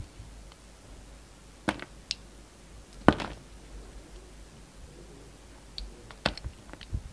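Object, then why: Bar of soap. A steel utility knife blade scrapes and slices thin shavings off a solid, hand-sized black-and-white striped bar of soap held in the hand. Short, crisp cutting clicks and scrapes come in scattered bursts, with the loudest snap near the middle, over a quiet, faintly hissing background. Each cut stops almost instantly, with no ringing.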